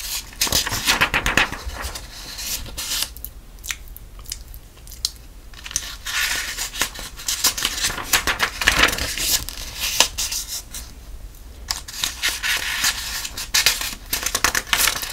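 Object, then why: Softcover paper puzzle book. Fingertips turn and flip the thin paper pages of a softcover sudoku puzzle book held open in one hand. The result is bright, dense paper rustling and crinkling with sharp crackly bursts, easing into quieter, softer stretches around the 3 to 6 second mark and again near 11 seconds.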